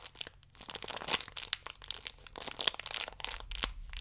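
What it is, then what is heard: Plastic-wrapped stack of yeast sachets. A stack of yeast sachets wrapped in clear plastic film is handled at its ridged side edge, as fingers rub and squeeze it and long nails scratch along it. The result is a dense run of short, bright crinkling and scratching bursts with little low end, including a few sharper louder snaps.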